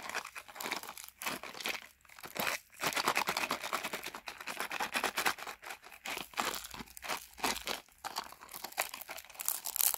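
Fingertips with painted nails grip and rub a small Fruittella sweets box of printed cardboard in clear plastic wrap, held over a carpet; the box appears closed and likely full. Dense, bright crinkling of the wrap comes in bursts separated by brief pauses, with almost no low end and no ring.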